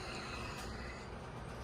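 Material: Nothing is struck.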